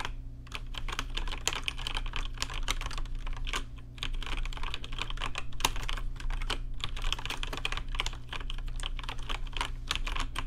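Fingertips type rapidly on a rainbow-lit RGB mechanical keyboard with plastic keycaps, producing a dense stream of sharp, bright clicks and clacks. The typing pauses briefly near the start and again around the four-second mark. A steady low hum sits underneath throughout.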